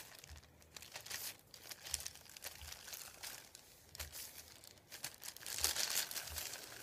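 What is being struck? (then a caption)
Thin paper sheet on a wooden table. Fingertips rub and tap a thin white printed paper sheet lying on a wooden table. The result is a bright, dry crinkling rustle broken by quick, uneven soft taps, with almost no low end.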